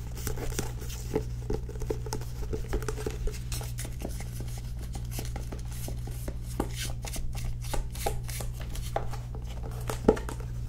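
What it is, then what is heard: Cloth-bound hardcover book. Long nails tap and scratch the illustrated cover of a solid, teal cloth-bound hardcover book held in both hands. Quick, dry clicks and soft scratching strokes come in a steady, uneven stream. A constant low hum runs underneath throughout.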